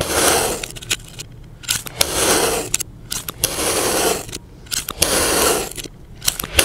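A utility knife held by the fingertips cuts horizontally through a solid, egg-shaped mound of yellow kinetic sand, slicing it into slabs while a blue sand dome sits untouched nearby. Four long passes of grainy, crackling, bright hiss scrape through the sand, separated by quieter gaps with small sharp clicks and crumbles.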